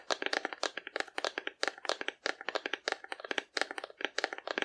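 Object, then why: Painted cardboard dinosaur. Long nails tap quickly on the side of a hollow painted cardboard dinosaur held sideways in both hands. The result is rapid bursts of crisp, dry, hollow clicks with a bright edge and almost no low end, each dying away instantly, separated by brief pauses.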